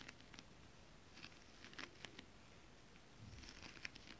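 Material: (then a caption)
Foil fabric. Long nails and fingertips tap and scratch a flat, holographic foil mermaid-scale fabric. The result is soft, quiet crinkly patter with short, bright clicks scattered over a low rustling hush.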